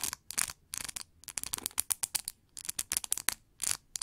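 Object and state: Plastic paddle hair brush bristles scratched.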